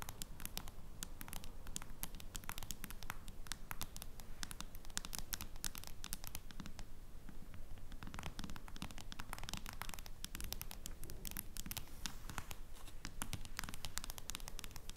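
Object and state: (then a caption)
Smartphone in plastic case. Long blue-painted acrylic nails on both hands tap and scratch a flat smartphone in a clear plastic case lying on a wooden table. Rapid, uneven, sharp clicking taps mix with dry scratching throughout, easing into softer scratching briefly around the middle before the quick tapping resumes.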